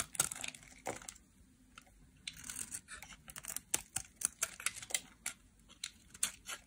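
A solid oval pink dry soap bar held in the hand is shaved and scraped with a metal utility knife blade, sending curls of soap falling off. Short, bright scraping and crisp tearing strokes come in irregular bursts with quiet gaps between them, and each stroke cuts off with almost no ring.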